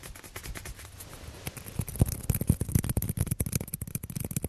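A small, hollow orange plastic table tennis ball held in the fingers is rapidly tapped and scratched with fingertips and nails. Faint, soft scratching opens the clip, then gives way to a quick, irregular run of dry, crisp taps with short hollow knocks and no ring.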